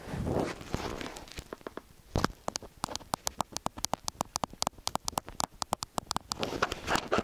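Fingertips and short nails of both hands tap and press on the two silver metal X/Y capsules of a small black-bodied stereo microphone, hollow with mesh grilles and sitting on a white round stand. Muffled, low rumbling presses open the clip, then a long run of quick, sharp, bright clicks and taps, and the dull rumbling pressing returns at the end.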